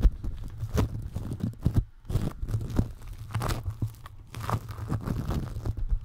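Fingertips squeeze, press and rub yellow-orange foam clay made of tiny polystyrene beads, packed in a thick layer around a round microphone. Dense, crunchy, crinkly squishing with quick crackling bursts runs throughout, heavy in low rumble, with a brief near-silent pause around the two-second mark.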